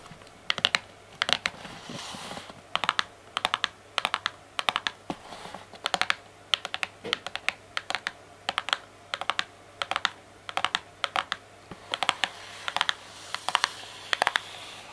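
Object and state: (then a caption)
Cardboard box tapped with fingernails. A closed, printed cardboard Kinder Joy multipack box, medium-small and holding the eggs, is held in both hands and tapped and scratched along its sides with long painted fingernails. Quick, dry, bright clicks come in tight clusters with no ring, separated by soft scratchy rustling over a faint low hum.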